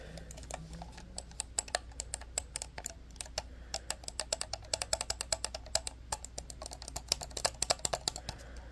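An orange and black hard-plastic corded computer mouse with a Flyers logo, small and hollow, is held in both hands and tapped and clicked with fingernails. Dozens of sharp, bright, dry clicks and taps come in quick, uneven bursts, each dying away almost instantly, over a faint steady low hum.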